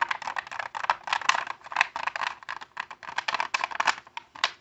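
Long acrylic nails tap rapidly on a hand-sized clear plastic case holding rows of small, full-looking plastic watercolor paint jars with colored lids, held close. The result is a quick, irregular stream of dry, bright plastic clicks and ticks that stop sharply with no ring.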